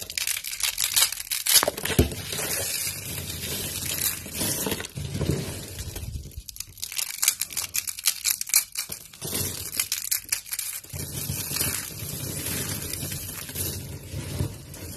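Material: Soap.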